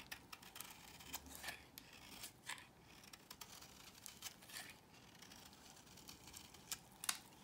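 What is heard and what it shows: A small metal blade scrapes thin curls off the surface of a solid cream soap bar held in hand. The quiet, bright scraping comes as a series of short, crisp strokes with soft rasping between them.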